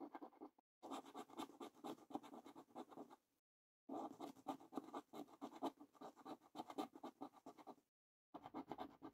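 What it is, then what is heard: Paper lottery scratch card being scratched. A coin edge quickly scratches across the lower panels of a thin cardboard Coffee Break paper lottery scratch card lying flat on a table. Bursts of rapid, dry scraping strokes, mostly in the low-mid to mid range, are broken by short silent pauses as the coin lifts between passes.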